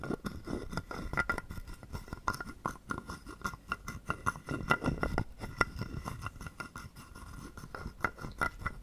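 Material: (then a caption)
Wood. A wooden stick is scraped and tapped along the ridges of a hollow carved wooden frog guiro held in the palm. The result is a quick series of dry, short clicks and rasps with a hollow woody body and a faint ringing tone near 1.4 kHz.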